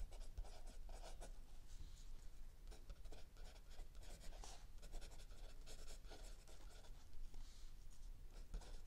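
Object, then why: Paper notebook page under a pencil. A mechanical pencil writes continuously on a lined paper page of a spiral-bound notebook lying flat on a wooden table, while an open paperback book rests still under the other hand. Quiet, dry scratching strokes come in quick bursts with bright hiss, over a steady low hum.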